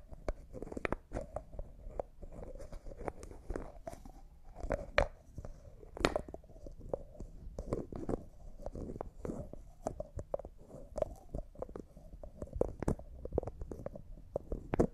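A small, hollow, clear jar that looks like glass and appears empty, with a white plastic lid, is held in both hands while fingernails scratch and tap the lid and twist it. The result is a steady run of quick, dry clicks and scratchy rubs with a muted, hollow low-mid body and little brightness. Each tap dies away almost at once.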